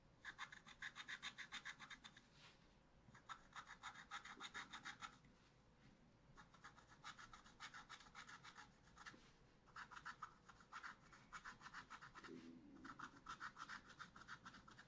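A wooden stylus scratches vine and monkey details into a small spiral-bound pad of black-coated scratch-art paper held by fingertips at its bottom edge. Quiet, rapid, raspy strokes with a bright, papery hiss come in five bursts separated by short pauses.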